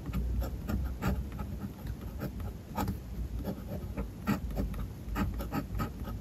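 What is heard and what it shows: A metal fountain pen nib scratches across a white paper page of a spiral notebook while writing lines of Japanese text. The sound is a close, soft, uneven scratching made of short strokes with brief pauses, plus a low rumble underneath. Occasional bright ticks stand out.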